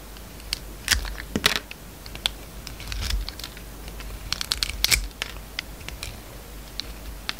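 A metal utility knife blade peels long slices off a hand-held oval bar of solid soap with a purple-streaked yellow interior. The cutting makes a dense run of crisp, bright scraping and crackling ticks with short sharp clicks over a low background hum. Thin slices come away from the bar as the blade passes through.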